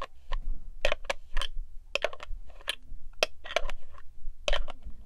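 Long nails tap on the gold cap and body of a full, clear purple plastic Love Spell Unwrapped mist bottle. The taps are quick, bright clicks that die away almost at once, landing in an uneven rhythm over a faint low rumble.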